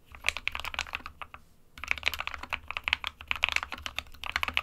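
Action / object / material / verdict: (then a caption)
tap / plastic mechanical keyboard / plastic / none. Fingertips of both hands type continuously on an SK61 small 60% mechanical keyboard with a plastic case and plastic keycaps, hollow with switches inside. Rapid, bright, clacky key strikes come in dense bursts, with a brief pause near the middle. Each click is short and dry, with little low-end thump.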